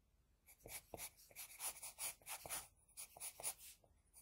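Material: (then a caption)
Paper. An HB pencil scratches across a flat sheet of drawing paper while drawing side hair. It makes quick, irregular strokes of soft, bright scratching, mostly high in pitch with little low end. Each stroke is short and dry, with almost no ring after it.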